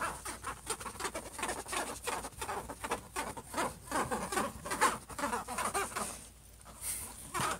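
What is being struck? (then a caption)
Laptop lid, metal-look plastic or aluminium. Fingertips and short nails of both hands scratch and patter rapidly on the silver, metallic-look lid of a closed HP laptop. The result is a dense, irregular stream of dry, scratchy taps and rasps centered in the midrange around 1 kHz, with a faint steady high hiss underneath. The activity briefly thins to a quieter lull near the end before a final burst of scratching.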